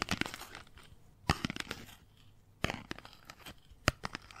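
A hand-sized, hollow, ladder-like accordion of folded white paper or cardstock strips is held and squeezed with fingertips and long nails, compressing and crinkling the strips. Soft, dry crinkles and crackles run throughout, broken by three louder, sharp crunching snaps. Each crunch is brief and bright, with almost no ring.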